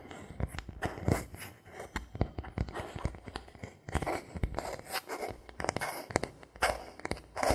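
A thin solid bamboo board held in the hands is tapped with fingertips and a knuckle, making a quick run of short, dry, woody knocks. There are brief scratchy and crunchy textures between the taps and almost no ring after each one.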